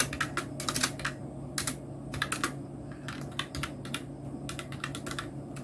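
Fingertips of both hands type on a full-size black Nubwo Illusion NK-70 mechanical keyboard with Outemu red switches, round plastic typewriter-style keycaps and a blue backlight. Irregular bursts of short, bright plastic clicks and clacks sit over a steady low hum. Some keystrokes cluster into quick runs between brief pauses.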